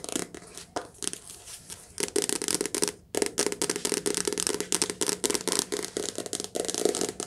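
Long nails tap fast on the glossy cover of a softcover paperback book held sideways near the face. Rapid bright, dry clicks come in quick bursts, with a brief pause near the middle before the tapping resumes at a steady pace.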